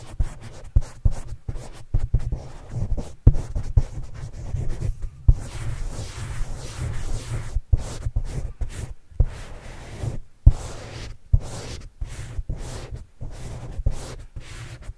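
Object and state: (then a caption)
Foam microphone windscreen being scratched. A black marker-like pen held in the fingers writes and scratches across a hollow, soft black foam windscreen on a microphone. The sound is a dry, muffled scratching and rubbing, almost entirely low and rumbly, broken by repeated short thumps and brief pauses between strokes.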